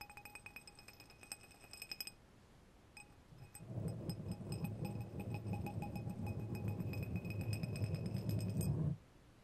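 Two long, thin, solid steel threaded screws or rods are crossed and rubbed thread against thread, clinking together. Rapid bright metallic clinks ring out with high tonal overtones for about two seconds, then come more sparsely. From about 3.5 seconds a dense, low grinding rasp builds under the clinks and continues until it stops abruptly near 9 seconds.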